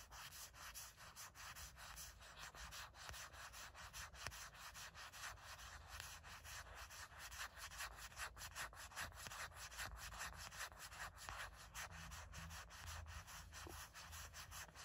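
Long nails scratch and rub back and forth across the back of a gray matte silicone phone case, a thin layer over a solid phone. The result is a steady, dry, bright scratching texture of rapid, uneven strokes with a soft low rumble underneath.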